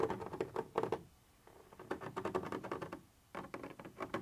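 A thin metal pointer tip scratches across a white translucent textured plastic surface, making quiet, dry, rapid scratchy patter in three bursts separated by near-silent pauses. The sound is brittle and mid-pitched, with little low end and no lingering ring.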